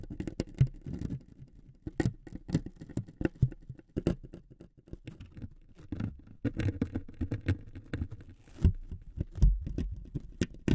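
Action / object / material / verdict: scrape / thin wooden veneer strip scraped with metal needles / wood / none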